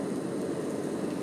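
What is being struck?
Nothing is struck.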